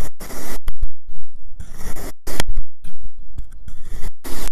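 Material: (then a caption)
Kinetic sand. A white ceramic knife fitted with a clip-on mic slices through a solid cylindrical log of marbled pink and yellow kinetic sand. It makes bursts of grainy, hissing scraping that sweep from low to bright, separated by short quiet gaps. Each cut carries a dull low thud underneath.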